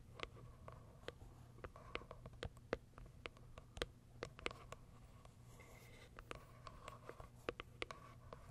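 Long acrylic nails tap and scratch the top of a small pale pink Kiara Sky cardboard box resting on fur. Quick, dry, hollow clicks land irregularly throughout, with soft scratchy rustling between them. The sound stays quiet over a faint, steady low hum.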